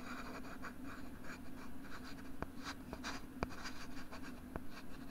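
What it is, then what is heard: Plastic writing tablet, scratched. A pink plastic LCD writing tablet is held back side out against the microphone while fingers scratch its molded plastic back. Soft, continuous scratching rides over a steady low hum, broken by a few sharp, brief ticks that die away almost instantly.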